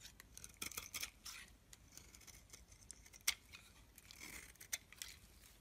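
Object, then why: Bar of soap scraped with a metal blade. A solid yellow-tan soap bar held in the hand is scraped with a metal blade, peeling it into curls. Quiet, bright, crisp scraping strokes come in uneven bursts, with a few sharper clicks standing out, and almost no low-end body.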